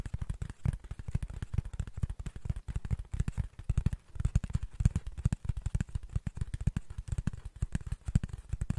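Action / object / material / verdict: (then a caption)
tap / cardboard sheet / cardboard / none. Fingernails scratch and tap quickly across the face of a flat brown cardboard sheet held in both hands. A dense run of short, dry taps lands with dull, low thumps and no ringing, while fainter scratchy texture fills the gaps between them.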